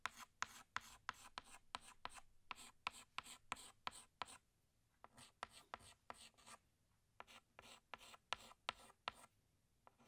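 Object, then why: Chalk stick on a blackboard. A pink chalk stick rubs over a flat black chalkboard, retracing a small flower in quick strokes. About twenty-two short, bright, scratchy strokes come in quiet bursts with brief pauses between groups, each dying away almost instantly with little low end.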